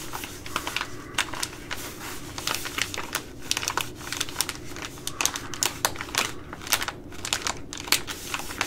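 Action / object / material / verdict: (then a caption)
scrape / plastic laminate food pouch / plastic / none. A Ready Rice plastic laminate pouch is scratched and tapped with long glittery nails, producing a rapid series of sharp, bright crinkles and clicks. Each one is short and dry over a faint steady low hum.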